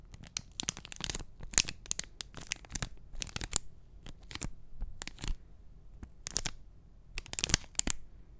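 A small, flat printed cardboard backing card holding an enamel pin is held over a microphone and scratched and tapped with short nails and fingertips. It produces quick bursts of dry, crisp scratching and tapping with bright, papery crackle over a faint low rumble. Each burst stops dead with no ring.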